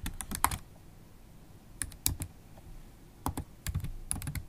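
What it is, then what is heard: Laptop keyboard typing. Long holographic acrylic nails tap the black plastic keys of a MacBook Pro laptop keyboard in bursts of typing. The keystrokes are short, crisp clicks that stop dead, with quiet pauses between the clusters.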